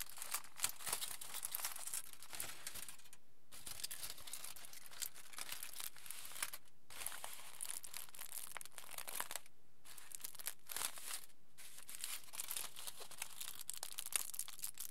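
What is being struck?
Aluminium foil sheet.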